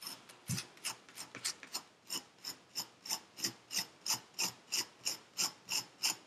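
A metal needle tool scratches through purple kinetic sand packed into a paper cup. It makes a quick run of dry, rasping scrapes that settles into a steady rhythm of about three strokes per second. Each stroke is short and bright, with almost no low end.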